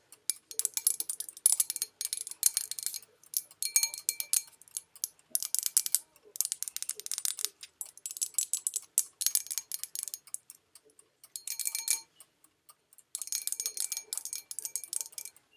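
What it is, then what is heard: Porcelain bowl tapped with nails. Long nails tap and click on the rim and outside wall of an empty white porcelain bowl with an olive print. The result is bursts of quick, bright, dry clicks separated by short pauses, with a faint high ring and almost no low end.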